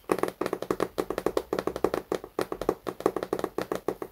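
A large, solid illustrated hardcover book, "Il grande libro della scienza," is held upright in both hands and tapped on its cover with fingertips and nails. Quick, dry, hollow knocks come in rhythmic clusters, each with a mid-pitched body near 370 Hz and almost no ring.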